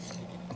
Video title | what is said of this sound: PJ Cooks Fried Squash Blossoms | they're very crispy hear how crispy they are